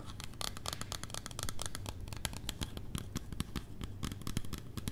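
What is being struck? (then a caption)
Small plastic bottle. Long red-painted nails tap and scratch along the sides and label of a small clear plastic micellar water bottle with a green plastic cap, partly filled with liquid and held up. A dense run of quick, dry clicks and scratchy rustles overlaps a low, steady hum, with the taps staying short and close together throughout.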